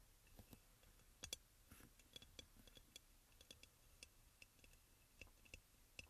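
Fingertips and nails of both hands tap quickly on the sides of a hand-sized, white crackle-glazed ceramic aroma oil burner, which is hollow with a front opening and a lid bowl on top. About eighteen light, dry clicks sound in an irregular rhythm, each with a bright, faint ceramic tick near 3.4 kHz that dies away almost instantly over a quiet background.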